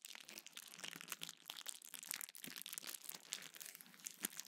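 A small sheet of clear plastic bubble wrap is held in both hands, squeezed and crinkled while bubbles are popped with the fingertips. The result is a quiet, continuous bright crinkling with many sharp, dry pops scattered through it and almost no low end.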